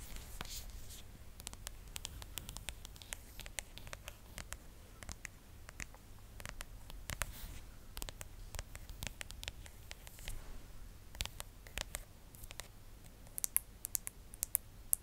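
Long acrylic nails tap and scratch a phone in a pink plastic case with stickers, held close to the mic. Many quick, sharp, bright clicks with almost no ring sit over soft scratching and a steady low hum. The taps grow sharper and brighter near the end.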